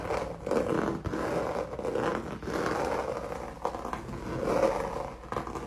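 Fingernails scratch quickly back and forth across a solid, flat, textured red canvas painted with acrylic paint. The result is a steady, gritty rasping with a mid-range tone and repeated strokes that rise and fall.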